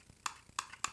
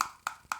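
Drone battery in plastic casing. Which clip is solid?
The second.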